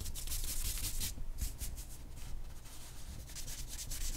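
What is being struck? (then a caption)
Charcoal stick on a paper sheet. A hand draws strokes with a black charcoal stick on a single white drawing paper sheet lying flat on a black board. The sound is a steady, uneven run of scratchy, rubbing strokes: bright bursts of friction noise over a low, dull rumble. The strokes come in quick succession with no clear gaps between them.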